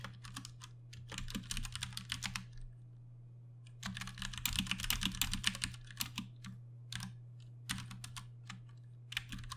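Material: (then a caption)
Plastic. Fingertips type in bursts on a Ducky One 2 Mini, a 60% mechanical keyboard with Cherry MX Brown switches and plastic keycaps. Bright, quick clacks come in uneven runs separated by short pauses. A steady low hum sits underneath throughout.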